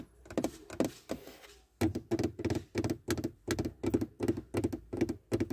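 Long red-painted nails and fingertips tap and scratch a hollow, black textured plastic center console panel beside a USB port and a silver trim strip inside a car. A few soft scratchy strokes come first, then a steady run of dull, hollow taps with a low-mid knock, each dying away almost at once.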